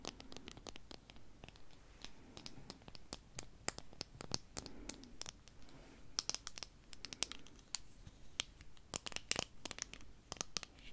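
Long nails scratch and tap along the frame and arms of a small pair of dark plastic-framed eyeglasses with lenses, held in the hands. A steady run of sharp, bright clicks and scratchy taps rises over a faint low hum, each one dying away at once.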